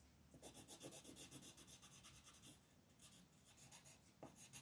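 A green wooden colored pencil rubs in dense, fast strokes across a flat printed paper coloring sheet on a desk, while the other hand, with red nails, holds the sheet in place. The strokes come as quiet, rhythmic scratchy rasps with a bright, papery hiss, about two per second. A soft, faint rubbing texture runs underneath.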